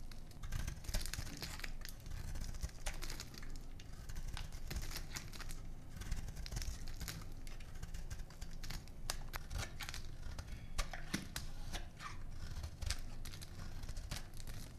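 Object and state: Dry soap bar being scraped.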